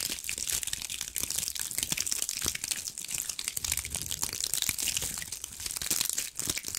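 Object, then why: Cluster of small pine cones. A fist-sized cluster of small, dry pine cones is scratched and gripped with long acrylic nails. The sound is a dense run of crinkly, crunchy scratches, almost all bright and high with very little low end. It stays fairly steady over the whole clip, with quick, dry clicks that die away at once.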